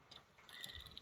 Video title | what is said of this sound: Haul Aliexpress: commande pour Stan surtout 😅 | ça sonne un peu creux. Alors déjà parce que c'est pas de l'argent, hein, c'est du toc celui-là par contre.